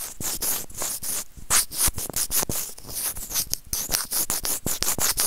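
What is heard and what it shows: A small, hollow white plastic earphone inline microphone remote is scratched and gripped by serrated plastic tweezers. It makes rapid, repeated bright scratching and rubbing strokes with soft low thumps underneath. Each stroke is short and dry, with almost no ring.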